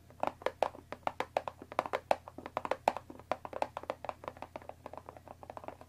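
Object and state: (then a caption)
Cardboard tea box. Long dark nails on both hands tap rapidly on top of a closed Earl Grey tea box, made of thin printed cardboard, about 20 cm long, likely full of tea bags and resting on a wooden table. Dozens of quick, dry, hollow clicks come in an uneven rhythm, each centred around a mid pitch with a bright edge and almost no ring. A faint low hum sits steadily underneath.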